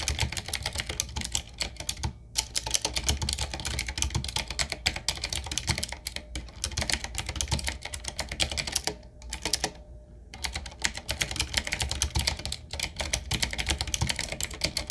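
A retro typewriter-style mechanical keyboard with round black plastic keycaps on a wood-trimmed frame is typed on fast with the fingertips of both hands. The result is a dense, steady stream of short, bright clicky key strikes over a low thud, broken by a few brief pauses.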